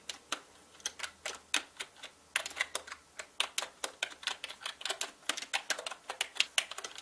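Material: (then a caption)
Plastic. A full-size black mechanical gaming keyboard with plastic keycaps and a hollow body is typed on quickly with the fingertips. Rapid, bright, clacky keystrokes come in uneven bursts with brief pauses, each click short and dry with almost no ring.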